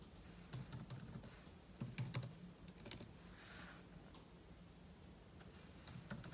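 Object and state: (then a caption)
Laptop keyboard typing. Fingertips type on the plastic keys of a silver aluminum laptop keyboard, with an open book lying untouched beside it. Short bursts of repeated soft tapping, each a low thud with a bright click, are separated by pauses filled with a quiet steady hiss.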